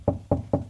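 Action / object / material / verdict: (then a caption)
knock / drywall over a wooden stud / drywall / solid. Three short, solid knocks on drywall over a wooden stud sound dull and tight, with most energy low and almost no ring. This marks the spot as a stud rather than a hollow cavity.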